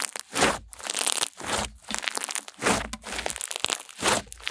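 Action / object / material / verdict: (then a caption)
scrape / slime / slime / none. Pink slime is squeezed and folded in the hands, then pressed flat with both palms and long nails. It gives repeated swells of crackly, crunching squelches with bright, airy detail and little low end.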